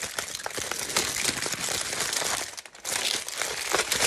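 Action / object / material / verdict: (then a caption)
scrape / thin aluminium foil sheet / aluminium foil / none. A crinkled sheet of thin aluminium foil is crumpled and rubbed with the fingers of both hands. The result is a steady stream of bright, crackling crinkles that briefly quiets for a moment before the rustling picks back up.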